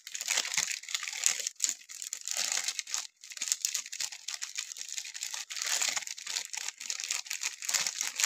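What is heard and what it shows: Fingertips and thumbs rub and crinkle the thin plastic film wrapper of a solid, hand-sized pink Palmolive soap bar while opening it. A dense, continuous run of bright, high crinkling and crackling fills the clip, with no low end and only brief pauses between bursts.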